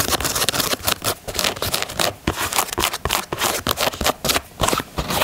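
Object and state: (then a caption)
Knit fabric sneaker. Fingernails scratch and tap the knit upper and heel tab of a grey knit Yeezy 350 sneaker. The result is a steady run of dry, crackly rasps and short, bright taps, heavy in high frequencies, with brief quiet gaps between bursts.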